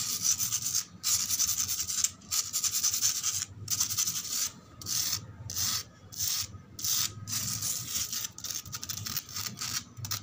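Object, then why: Outdoor concrete floor. Long acrylic nails scratch and rub across flat, solid, rough outdoor concrete ground with fine grit. Irregular bursts of bright, hissy scraping come in uneven strokes with short gaps between them, lasting the whole clip.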